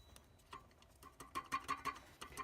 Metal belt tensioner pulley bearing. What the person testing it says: actually got some play by tap on it you can hear it better than me just rocking it back and forth